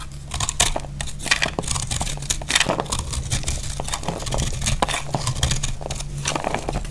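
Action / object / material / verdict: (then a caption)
scrape / bar of soap / soap / none. A utility blade cuts crumbly chunks off a solid, hand-sized dry pink soap bar. Rapid, dry crunching and crackly scraping strokes with bright, crisp edges play over a steady low hum.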